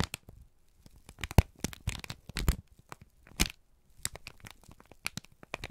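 A wrinkled strip of brown kraft paper is squeezed and crinkled by both hands. It makes bursts of sharp, dry crackles and crisp crinkling snaps, with short quiet pauses between clusters. A few louder pops stand out, each with a low thump and a bright, papery edge.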